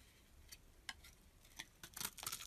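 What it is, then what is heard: Olive soap bar being shaved. A knife blade shaves a dense, dry, olive-green stamped soap block held in the hand, leaving ridged chips. Short, bright, crisp scraping ticks come sparsely at first, then crowd together and grow louder toward the end, each dying away almost at once.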